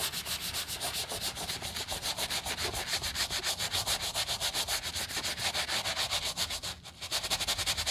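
A gloved hand scrubs the side and heel of a white leather sneaker with a wooden bristle brush. The result is a fast, steady series of bright, hissy bristle strokes that pause briefly near the end before resuming.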